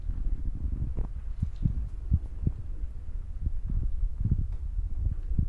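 Fingertips with short nails tap and press the top of a soft, porous black foam windscreen on a handheld Zoom recorder. The taps come through as quick, deep, muffled thumps over a steady low rumble, with almost no high or bright sound. The result is a dull, throbbing, heartbeat-like pattern of soft low knocks.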